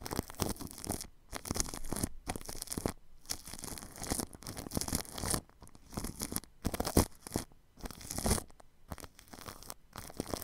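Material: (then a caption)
Plastic film. A paintbrush sweeps across plastic cling film wrapped over a ball microphone's grille, producing dense, crinkly scratching and rustling strokes. The strokes come in bursts separated by brief silent pauses, with a close, low rumble beneath a bright, airy hiss.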